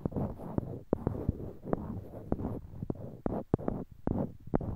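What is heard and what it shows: Small, solid, light-colored wooden cubes are held in pairs in each hand near a binaural microphone while fingertips click and knock one block against another. The result is a quick, uneven series of short, dry wooden clicks and knocks with almost no ring, over a soft, low, muffled rustle between the hits.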